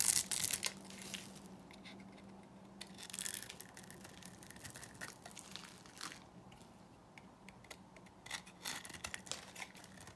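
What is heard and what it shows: A small metal blade shaves flakes from a solid, dry white bar of soap held in the hand. Crisp, bright scraping and crackling come in irregular bursts, loudest at the start and fading to a soft, quiet hiss. A faint low hum runs underneath.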